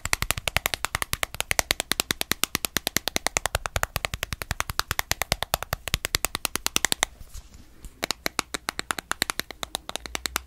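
Long nails rapidly tap a small, dark, cylindrical plastic spice jar labelled black pepper, which has a screw cap and is filled with ground pepper, as it is held in one hand close to the microphone. The taps are crisp, bright clicks with almost no ring, coming in a fast steady stream. Around seven seconds in, they pause briefly for a soft scratching rustle before the tapping resumes.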